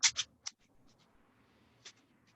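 A homemade egg shaker, a plastic egg container holding a small amount of rice, is shaken with two hands and then with one. Three quick, bright, crisp rattling swishes of rice are followed by a near-silent pause and one more short shake. The light fill gives a thin, high sound with almost no low end.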